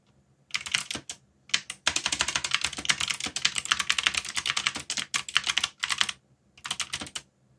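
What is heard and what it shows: Fingertips type continuously on a backlit mechanical keyboard with plastic keycaps, producing rapid, bright, clicky keystrokes with almost no low end. The typing comes in dense bursts separated by brief pauses, and each click dies away almost instantly.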